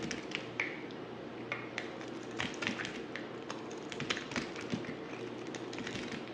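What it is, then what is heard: Dry bar soap being scraped. A dry, solid black oval bar of soap held in the hand is scraped with a utility knife blade, producing a quick run of crisp, bright scraping clicks with a sharp tone around 2.3 kHz. The strokes are short with little ring, over a faint steady low hum.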